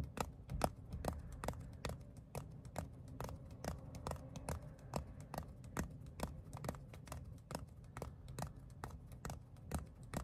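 Fingertips tap and scratch the pebbled surface of a flat, palm-sized black textured leather phone case. A steady run of quick, dry taps lands at a fairly even pace, each a soft low thump with a bright click on top that dies away almost at once. A faint scratchy rustle fills the gaps between taps.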